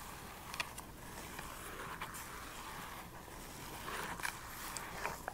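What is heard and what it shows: Extra-long acrylic nails tap and scratch the front of a small, hollow plastic Nintendo Switch game case with a printed paper cover insert, held in one hand. A quiet, steady scratchy rustle runs throughout, centered in the midrange, and seven brief, sharp clicks stand out above it with bright upper edges and almost no ring.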